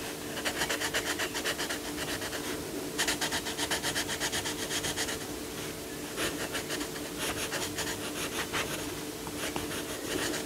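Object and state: Coloured pencil rubbing on a paper page.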